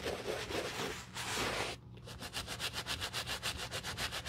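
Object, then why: Rubber shoe sole scrubbed with a bristle brush. A black treaded rubber shoe sole, held in gloved hands and covered in soapy foam, is scrubbed back and forth with a wooden-handled bristle brush. Broad, bright scratchy rubbing swells in long strokes, then breaks into a quick, steady run of short, crisp brush strokes with a hissy, high edge over a low rumble.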